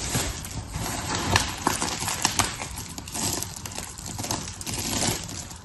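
A pile of dry blue and pink soap shavings is raked, rubbed and crushed with the fingertips, making a steady crackling, rustling crunch. Sharp bright clicks and snaps from the breaking shards rise above the dense grainy texture throughout.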